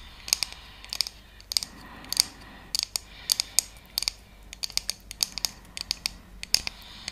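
A round, flat, thin and solid wooden (bamboo-like) trivet with decorative cutouts and a centre hole is held in both hands and tapped and scratched with long painted fingernails. An irregular series of sharp, bright, very short clicks sounds over a faint, hissy scratching, with almost no low end and no ring after each tap.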